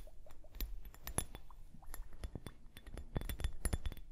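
A small clear plastic liquid hourglass, full of liquid and beads and held upright on fur, is tapped with long painted nails. A dense run of quick, dry clicks and light clinks comes through, each with bright glassy tops and almost no ring, over a low soft rumble.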